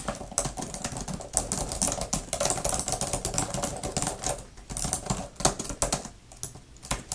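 Long-nailed fingertips type fast on a grey, thin plastic laptop keyboard cover with flat plastic keys. The result is a rapid, dense stream of sharp, bright clicks and clacks with very short decay, over a faint low rumble.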